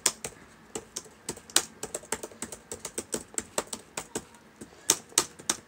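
Fingertips type on the plastic keys of a black laptop keyboard, making 23 short, bright clicks. Each tap is crisp and dies away almost instantly, falling in an uneven typing rhythm with a few louder strokes.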